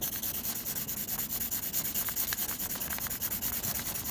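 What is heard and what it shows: A blue mechanical pencil scratches fast, repeated graphite shading strokes across a flat sheet of textured drawing paper. The sound is a steady, bright, dry rasp that pulses with each back-and-forth stroke, at about two strokes per second.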